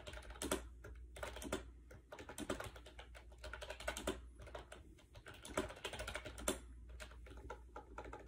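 Fast typing by fingertips on a compact gray plastic AJAZZ 308i wireless Bluetooth keyboard with round white keycaps, resting on a bed. The hollow plastic keys give dense, quick clicks with short, bright attacks over a steady low hum.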